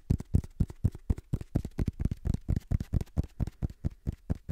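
Fingertips tap and scratch the page edges and cover of a black paperback book, a solid block of paper. About 20 soft, dull taps land in an uneven rhythm of roughly two per second. Each is a quick, low thump that dies away almost at once, with faint scratchy texture between hits.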